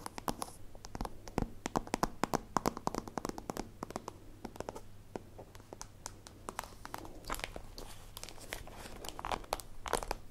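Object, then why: Plastic zippered pencil case. Long nails tap and scratch a holographic plastic zippered pencil case held in the hands, including its end panel. Quick, crisp, dry clicks mix with crinkly scratching of the plastic over a faint low hum, and each tap dies out immediately.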